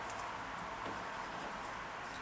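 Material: Nothing is struck.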